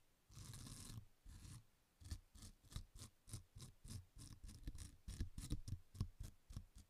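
A small fan paint brush with dark bristles is brushed and scratched across the rough surface of a thin, solid, flat rectangular green nylon scouring pad held in one hand in front of the microphone. Two longer sweeping strokes give way to a quick series of short scratchy strokes. Each stroke is a bright, airy hiss over a soft low thump.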